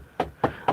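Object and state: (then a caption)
Wooden table. Knuckles knock three times on a wooden table. Each rap is short and dry, with a midrange tone around 800 Hz, little bass, and almost no ring.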